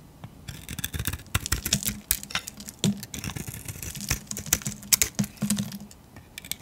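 A metal blade shaves curls off a solid, hand-held bar of pink soap with a glittery painted grey coating. A rapid series of crisp, dry scraping and crackling strokes rises and falls, bright and short with almost no ring, over a faint low hum.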